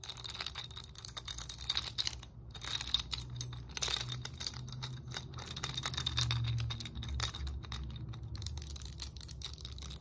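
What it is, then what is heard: Plastic muscle roller stick. Long nails tap and scratch quickly along the red, ridged hard plastic roller segments of a muscle roller stick with black foam handles. The result is a dense run of sharp, bright clicks and raspy scrapes over a steady low rumble.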